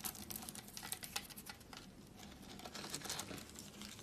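A pile of thin, brittle, dry pink, blue and white soap flakes on a woven mat is scooped up and crumbled in both hands with the fingertips. It makes a quiet, steady run of crisp, bright crunching and crackling with short, dry snaps.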